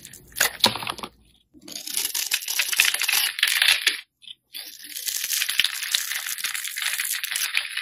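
A rectangular pink bar of soap with an embossed logo is held in the hand and carved with a metal utility blade, shaving off chunky chips. Dense, bright scraping and crisp cutting crackles come in bursts, with short pauses between strokes.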